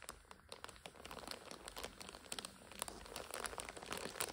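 Long nails scratch and squeeze a full red and purple instant noodle multipack in its plastic overwrap. The plastic crinkles and crackles in a dense run of quick, bright snaps with no ring.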